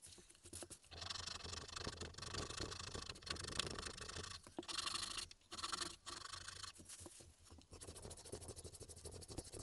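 A small, solid, pale wooden Tengu mask keychain, carved in relief, is held in the fingers and filed with a slim metal needle file, sped up. Dry, bright rasping scratches run in dense bursts with brief pauses between strokes, and a faint low hum sits underneath.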